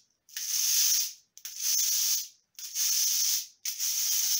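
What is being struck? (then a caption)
Hand-held cabasa, steel bead chain on a wooden cylinder. A hand-held cabasa, a wooden cylinder wrapped in loops of steel bead chain, is turned while the chain is held against the palm, rubbing the metal beads over the textured surface. Four sustained, bright, hissing scrapes are heard, each starting with a short click, swelling, then fading before the next turn.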